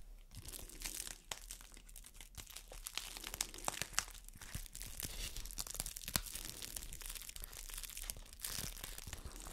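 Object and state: Crinkling thin plastic bag.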